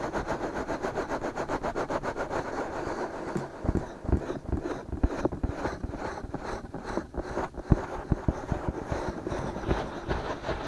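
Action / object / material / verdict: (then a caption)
scrape / silicone microphone ears / silicone / none. Fingertips scratch the outer surfaces of the soft silicone ears on a binaural microphone, starting with a quick, steady run of rasping strokes. Then come slower, uneven rubs with soft, low thumps scattered among them.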